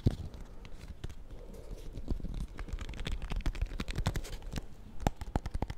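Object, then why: Paper-wrapped soap bar. A small solid bar of soap in a white paper wrapper with a purple label is held in the fingers while fingernails tap and scratch across the wrapped surface. Quick, dull, papery taps with very short decay mix with soft crinkly scratching, building to sharper, more distinct taps near the end.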